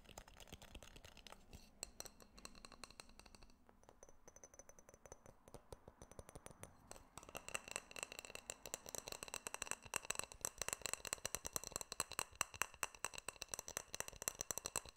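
A small clear glass jar with a silver metal screw lid is held in the hands while fingertips and nails tap on its glass sides and lid. The result is a steady stream of quick, light taps with bright, high clinks that die away almost at once. The tapping starts softer and sparser, then becomes louder and denser about halfway through.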